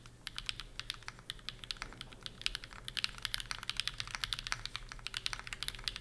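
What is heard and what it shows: A Bear65 v2 65% mechanical keyboard with PureBerry on an aluminum plate is typed on quickly with the fingertips of both hands on its plastic keycaps. Around 43 crisp, bright, short clacks come in a fast, uneven stream over a faint low hum, each keystroke dying away almost at once.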